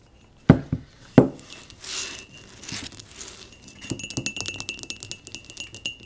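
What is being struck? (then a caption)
Small glazed ceramic pot. Long nails tap and scratch the outside and rim of a small, hollow, empty pot of speckled blue glazed ceramic held in the hands. Two sharp taps come first, followed by soft scraping, then a quick run of light, dry clicking taps with little ring.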